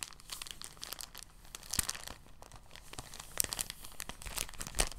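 A thin, translucent, empty soft plastic bag is opened and crumpled in both hands. It makes a steady, quiet crinkling with bright crackles, and a few louder sharp snaps stand out near the middle and end.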